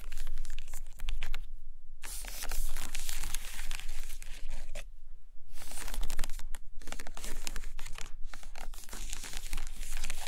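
Long painted nails scratch and tap the edges of a stack of about seven hardcover paper books with cardboard covers, lying on a carpet, working from both sides. The result is dense, dry, bright scratching with a crinkly, tearing-like texture and quick taps. It comes in continuous bursts broken by brief quiet gaps.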